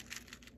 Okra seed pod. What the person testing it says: when it is completely dry when you shake it you can hear the seed inside the pots